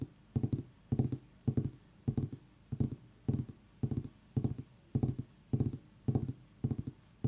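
Fingertips and long nails tap quickly on the top and sides of a small whole orange pumpkin's rind. The taps come in short, quick clusters about every half second, each a dull, hollow, low thud with almost no ring.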